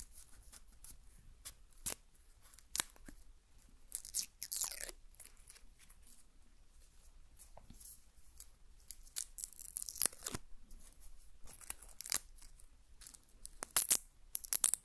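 A whole, solid brown onion is held in the hand while fingernails scratch and rub its dry, papery outer skin. The result is quiet, bright, crackly tearing and crunching sounds. These come as scattered sharp clicks and short rustling bursts, with the densest crackling around the middle and near the end.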